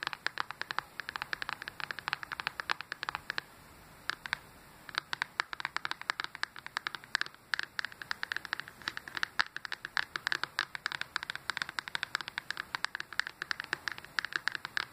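Fingertips and nails tap quickly on the lit glass touchscreen of a Nintendo Switch handheld console showing its home menu. The result is a dense run of short, dry, clicky taps, bright around 1.7 kHz, with a brief quieter pause around the four-second mark.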